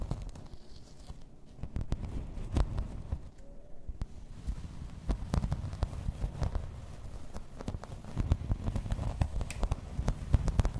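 Long red nails scratch and tap along the raised floral texture of a thin, solid grey embossed plastic placemat. The result is a steady, low, muffled rustling scratch broken by many short, sharp taps and clicks that die away at once, growing a little busier toward the end.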